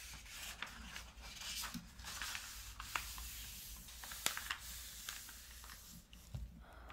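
An open softcover puzzle magazine with thin paper pages lies flat and solid on a table while fingertips and a palm rub and smooth across the pages. The pages are flipped from a crossword grid page to a logic-problem page. The result is a continuous bright, dry paper rubbing and sanding hiss broken by sharp crinkly flicks.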